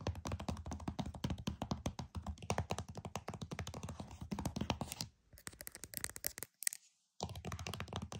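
Several long fingernails tap rapidly on the back of a flat, hollow plastic PS5 game case, producing dense, dry clicking taps with a soft hollow thud and almost no ring. The tapping runs in a steady flurry, breaks briefly twice near the end with a moment of silence, then resumes.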